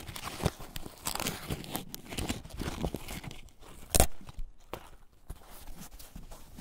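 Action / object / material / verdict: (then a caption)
scrape / corn husk on an ear of corn / plant fibre / none. Fingers peel back and tear thin, pale green husk layers from a single fresh ear of corn, rubbing the fibrous surface. Dry tearing and crinkling rustles run throughout, with a sharp, bright crackle near the four-second mark.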